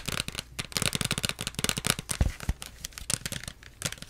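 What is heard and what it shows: Long nails rapidly tap and scratch the plastic label and cap area of a small plastic Pepsi bottle, making a quick run of crisp, crinkly plastic clicks and scrapes. A couple of duller low thumps stand out near the middle.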